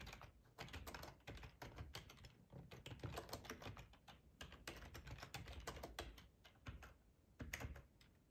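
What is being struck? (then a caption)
Plastic ergonomic computer keyboard. Fingertips type steadily on a black plastic, hollow-bodied split ergonomic computer keyboard. The result is a rapid stream of tapping keystrokes: each has a hollow low thump under a short, bright plastic click, with brief pauses between bursts.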